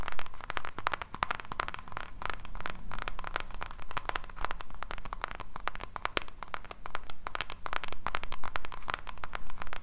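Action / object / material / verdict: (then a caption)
scrape / small cardboard gift box / cardboard / none. Long pink nails tap and scratch the surface of a small, closed pink cardboard jewellery box held in both hands. The result is a dense stream of quick, crisp clicks and scratchy crackles over a steady low hum.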